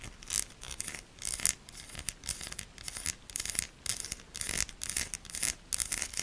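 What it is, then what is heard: Soap bar scraped with nails. Long nails scratch hard across the ribbed, embossed surface of a solid pink bar of soap, scraping off shavings. A series of bright, dry scraping bursts rise and fall with short pauses between strokes, with very little low end.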